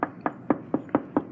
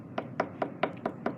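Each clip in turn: First: hollow sheet metal spot on car underbody. Second: solid steel jack point under a car.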